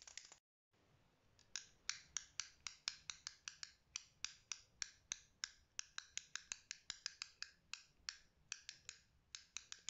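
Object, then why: Plastic fidget cube. Fingertips with short nails click the green buttons and flick the switch on a small black plastic fidget cube that also has a dial. After a brief silence, a steady run of dry, bright clicks follows, each very short with almost no ring and very little low end. The clicks come in quick, uneven succession over a faint background hiss.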